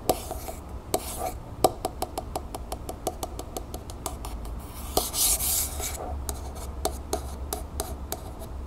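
A single long nail taps quickly and scratches along the body of a medium, hollow, copper-colored Vaseline aerosol can tilted on a wooden table. The result is a rapid series of sharp, bright clicks with a brief hollow ring around 740 Hz. A short, hissy scratch swells in the middle of the taps.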